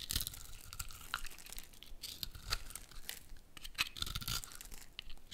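A metal utility blade scrapes and cuts into a hand-sized solid orange soap bar with a dark outer layer, held in one hand, shaving off small cubes and flakes. A steady run of crisp, dry scraping and crunching strokes is heard, bright and gritty with soft low thuds beneath, each cut ending quickly with no ring.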